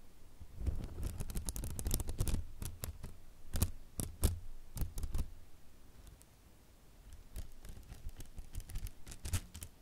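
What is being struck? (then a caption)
Silicone basting brush. A silicone pastry brush with soft grey silicone bristles and a wooden handle is held in one hand while fingertips pluck and flick the bristles close to the microphone. The result is a run of quick, dry flicking snaps, each with a bright top and a dull low thump, bunched in clusters with a quieter stretch in the middle.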